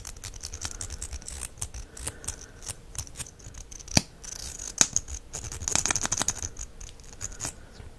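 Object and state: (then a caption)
Plastic mascara tube. A small hollow plastic mascara tube with a copper finish has its wand cap twisted and pushed in and out by the fingers. Many quick, dry clicks and scratchy scrapes come at an irregular pace, bright and high-pitched, with a few sharper snaps standing out.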